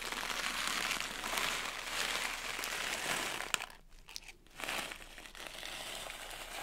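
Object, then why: Plastic pouch of sugar sprinkles. A small plastic pouch partly filled with blue sugar sprinkles is held up and shaken and crushed by hand, giving a dense, bright crinkling and rustling with the grains hissing against the plastic. Midway a sharp crackle stands out, the sound briefly drops almost to quiet, then the crinkling and rustling resume at a lower, steady level.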